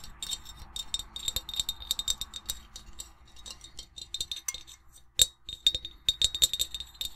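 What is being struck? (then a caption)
Glazed ceramic mug. Long nails and rings tap rapidly on an empty, hollow black glazed ceramic mug with a white ornate print and blue interior. The result is a quick, uneven series of bright, sharp clinks and ticks that die away almost instantly, with a few louder taps standing out near the end.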